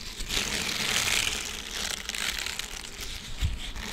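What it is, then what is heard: Silicone scrubber sponge. A flat green silicone dish scrubber with short bristles, thin and flexible, is held in both hands close to a microphone while fingertips squeeze, bend and rub it. The result is a steady, bright crinkly rubbing that swells and fades, with a brief low thump near the end.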